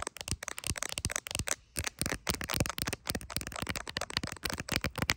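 Long acrylic nails tap fast and lightly scratch on the camera area and clear plastic case of a handheld iPhone, seen in a mirror. About 25 sharp, bright, clicky taps with very short decay come in quick bursts, with a brief pause near the middle.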